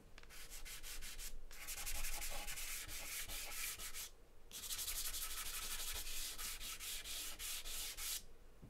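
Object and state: Charcoal scribbling on a paper sheet.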